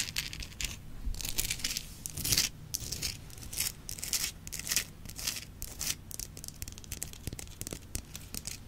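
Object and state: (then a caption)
Himalayan salt rock lamp. Long nails tap and scratch the surface of a large, solid, rough-faceted Himalayan salt rock lamp, lit from inside. The result is a steady run of bright, dry scratching rasps broken by short, crisp taps that die away almost at once.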